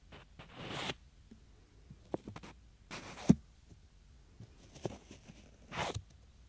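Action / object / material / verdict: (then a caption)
scrape / pair of small wooden blocks / wood / none. Two small solid wooden cubes are rubbed and slid together by fingertips beside a binaural microphone, producing soft, breathy scraping swishes at the start, middle and end. Between them come short, dry wooden taps and clicks with almost no ring. The loudest is a low knock just past three seconds, all at a quiet, close level.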